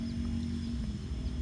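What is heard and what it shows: A ripe honey watermelon is flicked once by finger as a ripeness test, giving a single short, clear, ringing tap near the end. Before it, a steady low-frequency background hum is heard. The clear, ringing sound marks the melon as ripe.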